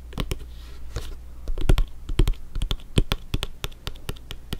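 Fingertips tap and scratch the surface of a blue stitched synthetic-leather soccer ball, hollow and inflated, as it is held in one hand and turned. A quick, irregular run of short, dry, clicky taps with almost no ring sounds over a steady low hum, with faint scratchy rubbing between them.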